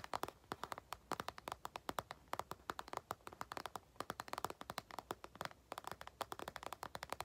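Long nails and fingertips tap and scratch on top of an empty, medium-size, glossy burgundy patent faux-leather makeup bag with a zipper. About fifty quick, dry, clicky taps come in irregular bursts, each centered around 1 kHz with almost no low end. Every tap dies away almost instantly over a faint background hiss.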